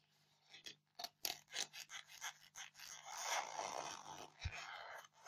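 Long painted fingernails scratch the top of a solid white polystyrene foam block resting on a blue towel. A series of short, bright, squeaky scrapes gives way to a longer, continuous rasping scratch. The sound is dry and hissy, with a faint steady low hum underneath.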